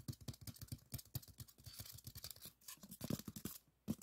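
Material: Polystyrene foam.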